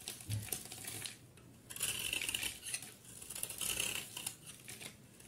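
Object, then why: Bar of soap. A solid rectangular bar of soap with a blue outer layer and cream interior, held in one hand, is shaved with a utility knife blade, scraping off curls and flakes. Quiet, bright, crisp scraping comes in uneven strokes, with two longer rasping passes in the middle and shorter scratches around them.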